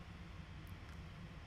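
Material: Nothing is struck.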